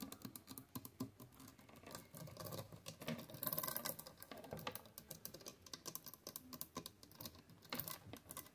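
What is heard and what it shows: Long acrylic nails rapidly tap and scratch a row of white plastic clothes hangers on a closet rod, with clothes hanging below. The result is a dense, quick patter of light plastic clicks with short, dry scratching between them. It has bright, crisp tops and little ring.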